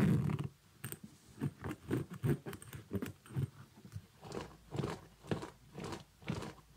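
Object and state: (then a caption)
Synthetic leather kids' boot with zipper. Fingers work the side zipper of a small synthetic leather kids' boot while nails scratch its upper. Soft, dull scratching and rasping come in short, separate bursts, mostly low in tone with faint bright ticks. The sound is quiet and close, and each burst dies away quickly.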